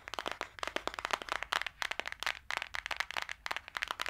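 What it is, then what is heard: Cardboard palette tapped with nails. Long dark-green acrylic nails tap and scratch fast on the cover and edges of a small, flat, green printed cardboard eyeshadow palette, held closed in the hand. A dense, uneven run of dry, crisp clicks and scratchy rasps continues throughout, bright and papery with almost no low end, and each tap dies away at once.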